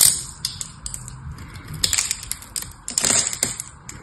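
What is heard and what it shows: A small, solid pink bar of dry soap is held in the hand and scraped and cut with a metal knife, with flakes breaking off. Crisp, bright scraping and dry crackling snaps come in quick, uneven bursts. The sound sits mostly in the high range and each burst dies away almost at once.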